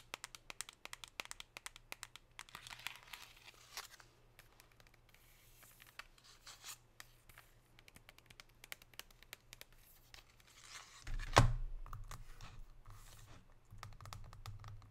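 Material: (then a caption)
Metal foil. Long pink nails tap and scratch a chocolate bar wrapped in crinkly gold foil, giving rapid, quiet clicks and crackly rustles with a steady low hum underneath. Around eleven seconds the foil crinkles more loudly before the tapping resumes.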